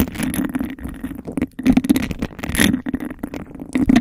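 Long acrylic nails quickly scratch the sides and tap the base of a hollow, empty clear glass cup with a raised bubble texture, held over the microphone. A dense run of rasping scrapes and clicky taps rings with a hollow resonance centered around 266 Hz.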